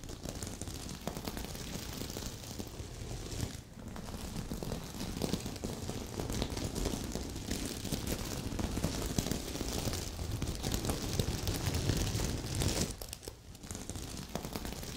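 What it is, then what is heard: Sequin-covered pillow, scratched. Long nails painted red and pink scratch and brush across a large, soft, filled heart-shaped pillow covered in red and silver reversible plastic sequins, flipping the sequins while a second sequin pillow sits untouched beside it. The result is a dense, steady, crackling rustle with a heavy low end and bright clicking texture. It briefly dips in loudness just before 4 seconds and again around 13 seconds.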